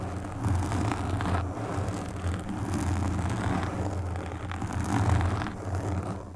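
Long pink nails scratch and stroke the black foam windscreen on a desktop microphone. The result is a steady, muffled low rumble with soft brushing swells and faint scratchy texture, and no voices.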